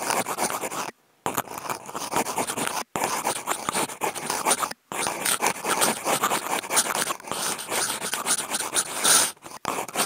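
Wooden toothpick tips fitted with clipped-on contact mics are scraped across a flat brown corrugated cardboard sheet. The result is dense, continuous scratching with a bright, high rasp and almost no low end. The scraping is broken by a few brief silent gaps.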